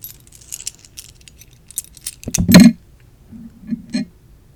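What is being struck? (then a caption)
Small metal board game tokens. Classic metal Monopoly playing pieces are handled, shaken and dropped in the hand, making light, bright clinks and jingles like jewelry. A louder clattering burst comes near the middle as the pieces knock together, followed by a few softer clicks as they settle.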